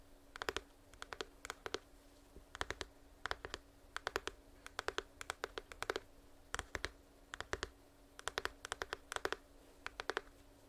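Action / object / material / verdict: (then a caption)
tap / small printed cardboard box / cardboard / none. A small, hollow, printed cardboard headphones box is held upright next to the microphone and tapped and scratched with long nails. Quick, dry clicks come in short clustered bursts of several taps each over a faint steady hum, each tap dying away almost instantly.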